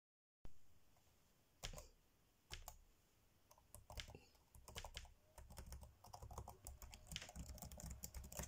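Fingertips tap fast on the dark grey plastic chiclet keys of a laptop keyboard, typing. A few spaced, crisp clicks with a soft low thump open the clip, then the taps quicken into a dense, rapid clatter of short, bright key clicks.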